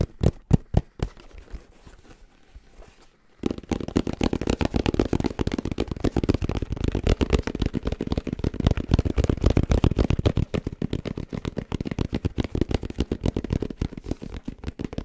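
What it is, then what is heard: Fabric-covered hard-shell headphone case. Fingertips tap on a black, round, fabric-covered hard-shell headphone case with a red logo. A few separate dull taps open the clip, followed by a short quiet pause. Then a fast, uneven stream of tapping runs to the end, producing low, muffled thuds with brief crackly edges.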